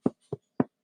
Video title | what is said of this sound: Let’s Sew a Tailored Blazer Together: Materials | you need to be able to hear it when you knock on it. It's got to have sawdust in it.